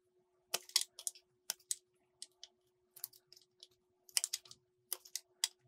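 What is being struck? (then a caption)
Bar of soap cut with a metal blade. A small solid green soap piece is cut into strips with a metal utility blade, giving a series of short, bright scraping and crisp clicking cuts in quick clusters separated by brief pauses. A faint steady hum runs underneath.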